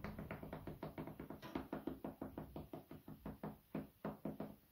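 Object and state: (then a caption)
Wooden cutting board. A light, solid, flat wooden cutting board held in the hands is knocked and tapped with the fingertips. The result is a quick series of dull, hollow knocks with a woody low-mid tone. Each knock dies away almost at once, and the rhythm is uneven.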